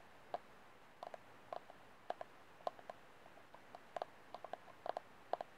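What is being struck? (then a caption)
Thin disposable plastic cup. Fingernails tap the outer wall and rim of an empty white disposable plastic cup, held with its hollow open end facing forward. An irregular string of quiet, sharp, dry ticks rises and falls, each with a hollow, mid-pitched plastic tone that stops almost instantly.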